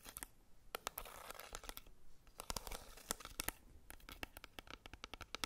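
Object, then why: Plastic powder compact. Long red nails tap and scratch the clear lid and edges of a small, flat, black plastic Maybelline Fit Me pressed powder compact held in the hands. A quick, irregular run of sharp, dry clicks alternates with stretches of hissy scratching. Each tap stops dead with no ring.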